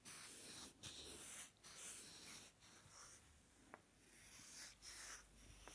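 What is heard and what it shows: Two small, solid, light wooden blocks are held together and rubbed and scratched against each other with fingers close to the microphone. The result is a soft, dry, bright scraping hiss that rises and falls in strokes, with a couple of brief sharp clicks.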